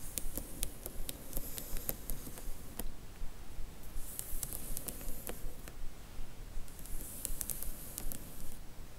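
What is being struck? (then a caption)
Paperback book spines in a cardboard box. Long nails lightly tap and scratch along a row of paperback spines in a cardboard Harry Potter box set. Crisp, short clicks repeat at a steady, quick pace, and soft hissy scratching rises at the start, around the middle and near the end, all over a low, quiet rumble.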